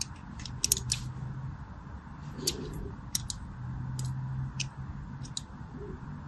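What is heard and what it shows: A thin craft blade scores parallel lines into the surface of a solid, palm-sized orange bar of soap held in one hand with long pink nails. Repeated short, crisp, bright scratching cuts ring out over a steady low hum.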